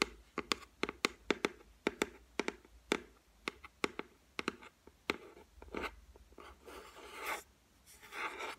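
Long white nails tap about 19 times in quick, sharp clicks on the flat, solid top of a white laminated shelf, then scratch across it in rougher, hissing strokes toward the end. The taps are dry and bright with almost no ring.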